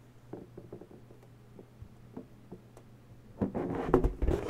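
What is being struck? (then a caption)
Inflated latex balloon. Long natural nails tap lightly and repeatedly on an inflated, hollow pink latex balloon, giving soft, dull, rubbery ticks over a low steady hum. After about three and a half seconds, the nails press into the latex and the sound grows louder and busier, with squeaky, rubbery rubbing and brighter bursts.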